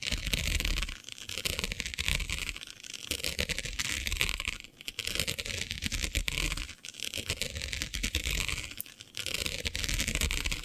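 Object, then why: Plastic diamond mesh sheet. Long nails scratch across the grid of a flat, black, iridescent plastic diamond mesh sheet. The result is a dense, bright, crackling scrape with a low rumble underneath, rising and falling in waves of strokes separated by brief quieter dips.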